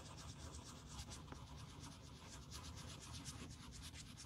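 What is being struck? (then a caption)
Leather boot toe cap. A black leather Blundstone Chelsea boot, hollow with a thick rubber sole, is held in gloved hands while its toe cap is scratched and rubbed with a small tan sanding block or sponge. A steady, soft rasping scrape with bright, high flicks rides over a low rumble throughout, with faint background music possibly underneath.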